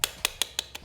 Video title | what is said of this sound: Iphone pakai charger kw? Mending pakai charger android saja | charger original itu pasti suaranya rapat